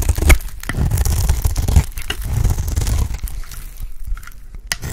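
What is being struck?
Cream soap bar cut with a blade.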